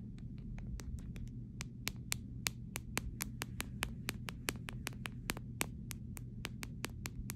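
A fingernail taps on the camera area and side of a clear plastic phone case in a quick, steady series of sharp, bright clicks. Each tap is dry and dies away almost at once over a constant low hum.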